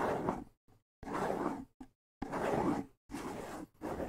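Fingertips scratch in quick strokes across the skin head of a small, hollow wooden bongo drum held up in the air. Several dry, rasping scratches come in separate bursts with short silences between them, each a broad, breathy texture centered in the midrange with little ring afterward.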